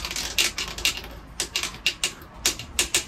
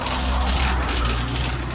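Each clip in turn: First: hollow (delaminated) wall tile. Second: bonded exterior wall tile.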